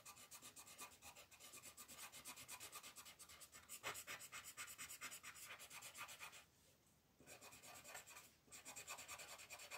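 A green colored pencil rubs in small, quick strokes across a flat paper coloring sheet on a table, coloring in the eyes while a hand with yellow nails holds the paper. It makes a steady, bright, scratchy rasping with a rapid rhythmic texture, pausing briefly twice before the strokes resume.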